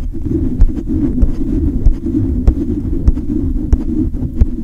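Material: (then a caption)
Metal mesh. Fingertips rub and scratch fast and hard across the hollow metal mesh grille of a silver condenser microphone. The result is a dense, boomy, low-heavy scraping rumble, broken by sharp thumps and clicks that land at uneven intervals.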